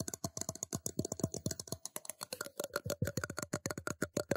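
A metal cup is tapped in a quick, steady run of more than thirty sharp, separate taps. Each tap gives a short clinking ring that fades almost at once.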